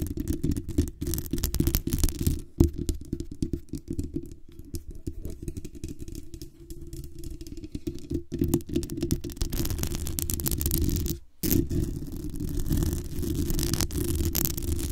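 Long acrylic nails tap and scratch the hollow metal mesh grille and the base of a black USB condenser microphone with a metal body. The result is a dense, irregular stream of quick, dull, bass-heavy taps and rasping scratches with very little high end, broken by a brief near-silence around the eleventh second before the tapping resumes.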